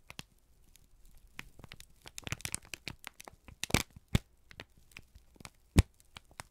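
A single thin, crumpled sheet of brown kraft paper is held in both hands and squeezed and crinkled with the fingertips and thumbs. Quiet crackles and soft rustling build into denser bursts of crinkling, broken by a few sharp, bright pops and cracks. Each snap is short and dry with almost no ring.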